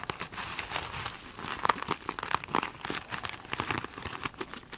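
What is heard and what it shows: Long acrylic nails scratch over the glittery textured face of a small rectangular glitter-coated foam sponge standing upright on a table. The result is a continuous run of dry, bright crinkling scratches with short crisp accents and almost no low end.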